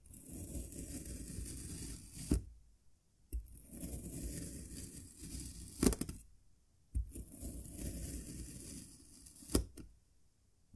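A small solid cylinder of green kinetic sand, molded from a cup, is sliced repeatedly with a serrated metal knife, each cut shearing through the packed sand and meeting the green board beneath. Three slow, grainy, low scraping cuts are heard, each ending in a sharp tap against the board, separated by brief silences.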